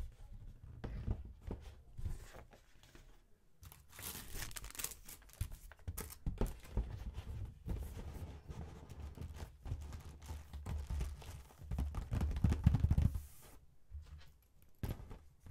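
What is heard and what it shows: Both hands rapidly tap and lightly scratch the lid of a closed Bendicks Mint Collection box, a flat rectangular printed cardboard box about 30 cm wide, hollow with the chocolates inside, using fingertips and painted medium-length nails. Quick, dull, low-pitched taps come in an uneven, fast rhythm, mixed with bright, dry scratching and crinkling bursts. Each tap dies away almost instantly.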